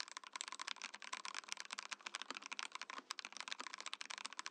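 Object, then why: Mechanical keyboard, plastic case and keycaps. A compact Mojo68 mechanical keyboard with a translucent plastic case and white plastic keycaps is typed on with fingertips, while a separate Mojopad numpad sits idle beside it. A rapid, steady stream of crisp, bright plastic clacks is heard, each keystroke short and dry with almost no ring and no low-end thump.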